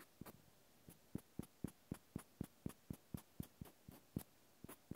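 A cotton swab scratches the end face of a small solid cork wine stopper held in the hand. It makes 14 soft, dull, very short strokes at an uneven pace of about four per second. The strokes are quiet and low, with a faint thin bright edge, and there is near-silence between them.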